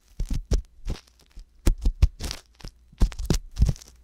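An ear pick scratches and rubs inside the canal of the left silicone ear on a binaural microphone. Irregular bursts of scratchy rubbing come through as deep, muffled thumps with brief bright, crackly edges and short gaps of near silence between them.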